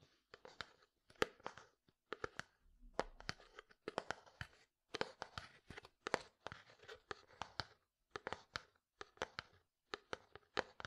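Fingertips and nails tap and scratch a medium frosted plastic jar with white contents. Quick, dry clicks come in uneven bursts with faint scratchy rasps between them. Each tap dies away almost at once, and the sound stays quiet and light in the low end.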